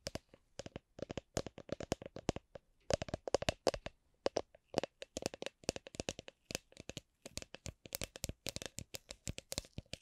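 An empty, hollow clear plastic drink shaker with a red lid is tapped and scratched on its side and bottom with long nails. Dozens of quick, dry taps follow one another in an uneven rhythm, each a short hollow click with a mid-pitched body and a bright, crisp edge that dies away almost instantly.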